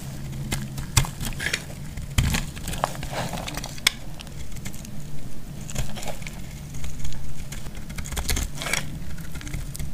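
A metal utility blade cuts and scrapes a solid, partly carved bar of dry purple soap held in the hand, shaving it into flakes. Sharp, dry snaps and brittle crackling scrapes come in quick bursts, each dying away almost at once, over a steady low hum.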